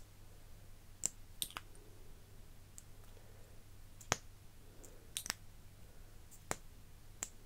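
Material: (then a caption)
Plastic. A slim iridescent plastic lip gloss tube with a metal-look cap, partly full, has its cap twisted and clicked open and its wand pulled out by fingers with long nails. Sharp, bright, very short clicks and ticks come at irregular intervals over a quiet background with a steady low hum.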